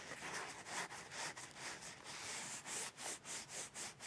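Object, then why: Cardboard tissue box. Fingertips with long painted nails tap and scratch along the edge of a hollow, partly full rectangular cardboard tissue box, with tissues poking out of its top opening. The result is a quiet, bright, papery scratching and rubbing in soft rhythmic strokes, roughly two per second, that become more distinct toward the end.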